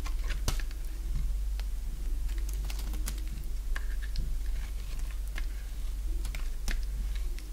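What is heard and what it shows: A solid oval bar of dry yellow soap held in the palm is shaved into curls with a box-cutter blade. Crisp, bright scraping and cutting ticks come in quick irregular bursts over a steady low hum.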